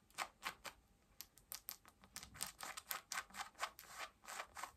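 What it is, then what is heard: Denim jeans scratched with nails. Long nails scratch pale yellow denim jeans at the waistband and front pockets. There are eighteen short, bright rasping strokes of dry fabric hiss with almost no low end. Each stroke cuts off quickly with brief quiet gaps between them.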